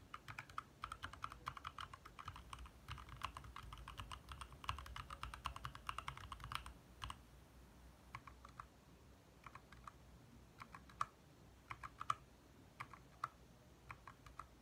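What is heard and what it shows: Fingertips of both hands type fast on a compact 60% backlit mechanical keyboard with lit plastic keycaps. A dense, rapid stream of short, sharp clicks centred in the midrange runs for about seven seconds over a low rumble. It then thins into sparser, separate key taps until the end.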